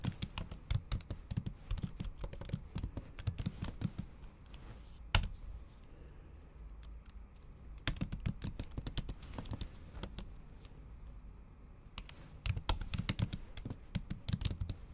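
Typing with the tips of long acrylic nails on a MacBook Pro keyboard, whose plastic keys sit under a thin pink patterned silicone cover. Bursts of soft, dull, low clicks and taps with short ring come in quick runs, with one sharper click near five seconds. The typing thins into quieter stretches in between before picking up again.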